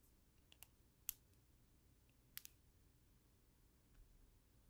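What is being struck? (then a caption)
Plastic snap fidget toy. A small snap fidget toy, a chain of hollow red and green plastic links in wacky-track style, is folded and bent by the fingertips of both hands, formed into shapes and a loop. Five sharp, bright plastic clicks and snaps from its joints sound at irregular intervals, each stopping instantly. A low, quiet rumble runs underneath.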